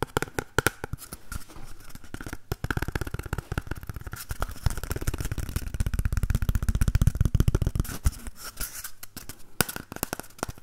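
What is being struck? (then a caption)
Cardboard toilet roll tube. An empty, hollow cardboard toilet roll tube is held in both hands while fingernails scratch and tap its outer surface. Fast, irregular dry taps and scratchy rustles run throughout, with a muffled, low-heavy tone and almost no ring. The tapping grows denser and louder in the middle before easing off.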